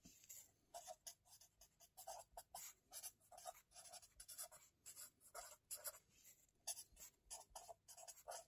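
A white marker pen is written continuously across a lined paper spiral notebook lying on a table, close up. A rapid train of short, bright scratching and rubbing strokes is heard, with a mid-range squeak in each stroke and almost no low end. The sound is quiet.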